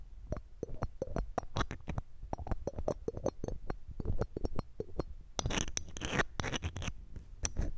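A red-gem ring in a metal setting, held in metal tweezers, is rubbed and scratched against the round metal mesh grille of a silver condenser microphone. The result is a rapid series of close, dull, bass-heavy scratching taps, with a denser, brighter raspy scrape around the middle-to-late part of the clip.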